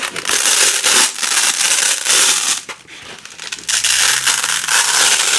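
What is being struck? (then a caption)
Nylon hook-and-loop strip. A wide black nylon hook-and-loop strip of thin, flexible fabric, with a fuzzy loop side and a ridged hook side, is held in both hands with long pink nails while the two sides are slowly peeled apart. It gives dense, bright crackling rips in long stretches, with a brief quieter gap midway before the tearing resumes.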